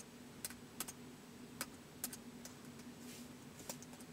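Fingertips slowly type on the white plastic keys of a laptop keyboard, producing soft, sharp clicks spaced apart with very short decays. A faint, steady low hum sits beneath the quiet, bright taps.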